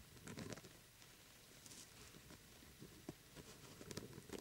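A small, hollow, glitter-coated plastic jack-o'-lantern lamp is held between both hands while the fingertips and nails of both hands quickly tap and scratch its glittery surface. The result is a quiet, dry patter of soft taps and gritty scratches, with a few sharper clicks standing out near the end.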